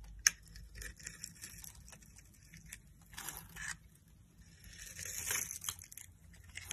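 A metal utility knife blade scrapes and carves cubes off a solid pink soap bar held in the palm, its surface scored in a diamond pattern, breaking them off as crunchy chips. Quiet, bright, crisp crunches and scraping sounds come in short bursts, opening with one sharp snap and swelling into longer scrapes in the middle and near the end.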